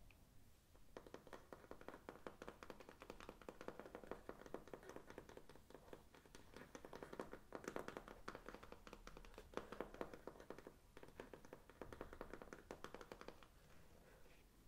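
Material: Faux leather.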